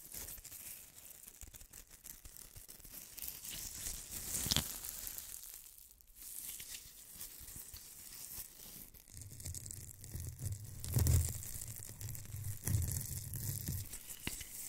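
Fingernails scratch the fuzzy-coated surfaces of two small styrofoam snowman ornaments, making a dry, bright, tearing-like scraping with a constant crinkly hiss. The scratching swells into louder bursts near 4.5 and 11 seconds, and a low hum sits under the second half.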